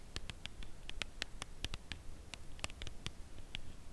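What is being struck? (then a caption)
Cardboard chocolate bar box. Long nails tap the face and edge of a full Lindt Caramel cardboard chocolate bar box, held upright at an angle. They make a quiet, slow series of short, crisp clicks with bright upper bands and no ring, over a low, steady rumble.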